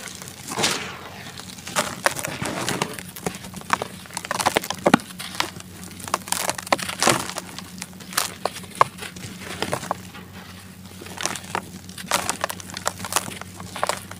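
Bare hands squeeze and crush large, dusty grey-brown balls of dry sand-cement mix in a white plastic basin, and the clumps crumble into powder that falls in dusty streams. Dense, gritty crunching and crackling bursts with bright, dry snaps come and go over a faint, steady low hum.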